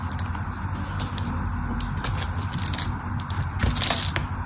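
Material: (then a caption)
Soap. A metal blade shaves thin slices and flakes from the face of a solid pink soap bar. The scraping is steady and crackly, with a low rumble underneath and many small, bright, crisp clicks. It swells into a louder, brighter scrape near the end.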